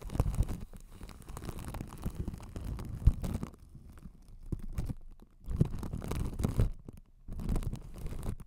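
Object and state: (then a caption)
Plastic-wrapped microphone being scratched. Long acrylic nails from both hands scratch and tap across clear cling film stretched over a hollow white spherical microphone with a metal mesh grille. The result is dense, close crinkling and scratching with soft, low, muffled thuds. It comes in bursts, with quieter stretches around the middle and near the end.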